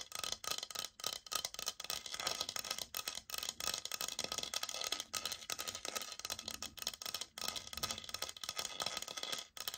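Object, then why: Laminate flooring sample plank. Long nails tap and scratch the surface of a brown laminate flooring sample, a solid board held upright. The result is a dense, quick run of dry, bright clicks and raspy scrapes with almost no low end and no ring, broken by a few brief pauses.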